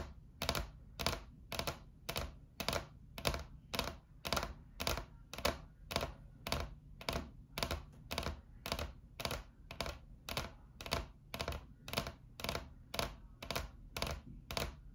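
Long acrylic nails tap rapidly with both hands on a flat, solid white laminate tabletop. Quick, bright, clicky taps come in a steady rhythm of bursts, roughly two per second, over a faint low hum. Each tap is sharp and dry and dies away almost at once.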